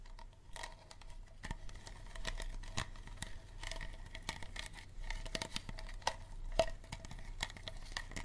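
Fingernails tap and scratch the ridged surface of a small, empty, clear unlabeled plastic water bottle with a green cap. Quick, sharp clicks and scrapes sound hollow and light, with a steady ringing tone in the midrange and bright crackle on top. The tapping keeps up at an uneven pace throughout.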